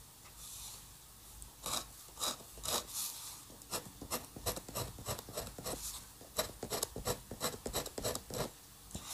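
A metal dip pen nib, held by the fingertips, scratches hatching lines into an ink drawing on a flat sheet of white drawing paper on a table. After a soft, faint start, a rapid, uneven series of short, bright, raspy scratches follows, each stroke cutting off quickly over a quiet background.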